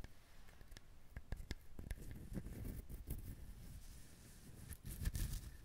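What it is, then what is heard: Husked coconut. A whole, brown husked coconut is held in both hands while fingertips and nails tap on its shell. The taps are soft, low and dull, each dying away almost at once, with a faint scratchy rustle between them that grows a little louder near the end.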